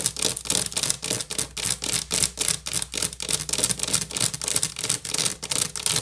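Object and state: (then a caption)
Wicker basket. Long nails scratch and tap quickly across the top of an upside-down, hollow woven wicker basket. Around thirty bright, crackly bursts come in a fast, uneven rhythm over a faint low hum.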